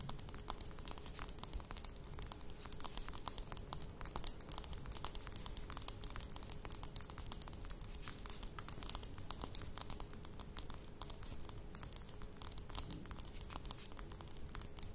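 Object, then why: Small glass dropper bottle with metal cap. Fast tapping with long nails on a small glass dropper bottle with a metal cap, standing on a table. A dense, continuous stream of short, bright clicks runs throughout, with a faint steady high ring and a low hum underneath.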